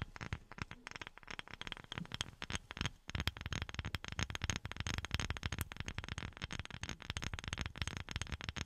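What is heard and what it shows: Fingertips wearing silicone rubber pads tap rapidly and continuously on a wooden object. The taps are soft, dull and low-heavy with a faint bright click on each. Every tap dies away instantly with no ring.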